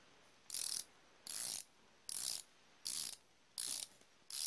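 Fingertips spin the ratchet mechanism of a solid chrome-plated steel flexible-head ratchet wrench back and forth. Six bursts of rapid, bright, high clicking are heard, separated by short pauses, with the last burst cut off at the end.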